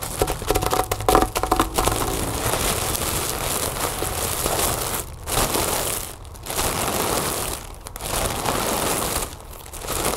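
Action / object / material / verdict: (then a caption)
scrape / inflated mylar foil balloon / mylar foil / none. A large, inflated, hollow "Happy Birthday" mylar foil balloon is scratched and rubbed with the long nails of both hands. It gives dense, crinkling, crackly friction noise, with sharper scratchy bursts in the first two seconds. A steady rustle follows, broken by brief quiet gaps as the nails pause and start again.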